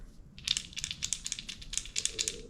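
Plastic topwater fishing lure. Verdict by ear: Quiet.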